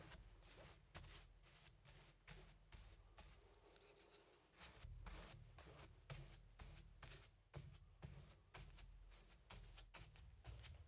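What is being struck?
Stretched cotton canvas on a wooden frame.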